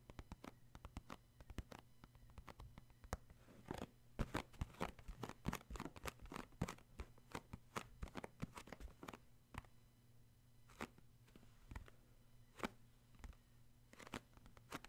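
Fingertips tap the printed front of a cardboard tissue box in quick, irregular bursts of short, dry taps with no ring. A steady low hum sits underneath throughout.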